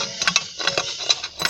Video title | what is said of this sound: As Coisas Mais Desconfortáveis Que Você Já Viu | Ia selipar besi dengan tali dikimpal, dan memang tahan lama. Boleh ketuk satu sama lain, bunyinya macam bengkel dibuka di halaman rumah.